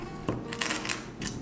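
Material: Dried chili.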